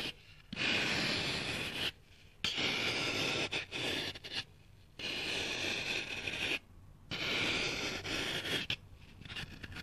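A kitchen knife with a green handle slices into a dry, palm-sized solid brick of soft, crumbly green floral foam held in one hand on a windowsill. Long, bright, gritty cutting and scraping strokes alternate with short quiet gaps. The sound has a strong hiss centered around 3 kHz and little low end.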